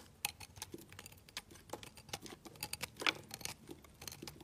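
A metal utility blade, held against the thumb, cuts a pink and orange layered solid soap bar into small cubes. A quiet, rapid series of short, crisp clicks and crunchy snaps is heard, bright and dry with almost no low end, the loudest cut standing out about three seconds in.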